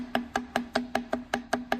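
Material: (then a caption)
Metal. The loose turbocharger shaft on a Hyundai Tucson engine, moved by hand, knocks with nine rapid, sharp metallic clacks in under two seconds, each with a short tonal ring. The turbo is loose from lack of lubrication and maintenance and must be replaced.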